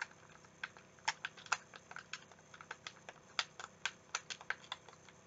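A translucent green, hand-sized, hollow plastic game controller is held in the hands while fingertips click its buttons and tap its shell. Quick, dry, bright clicks and taps come at an uneven pace over a faint steady hiss, with some louder than others and no ring after each one.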